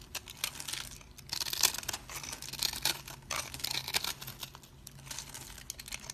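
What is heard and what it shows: A blade scrapes crumbly cubes off a solid bar of dry cream soap held in the fingers. The sound is a series of dry, bright crunching and crackling scrapes in quick, uneven bursts, with almost no low end and no ring after each scrape.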